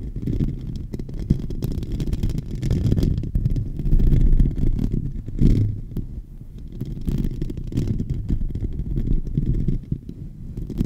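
A fingertip and nail scratch across the dome of a silver microphone's hollow metal mesh grille. The close contact comes through as a deep, muffled rumble with almost no high end, swelling and fading continuously with a few stronger scrapes along the way.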